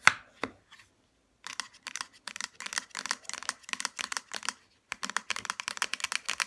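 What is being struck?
Small plastic bottle with plastic cap.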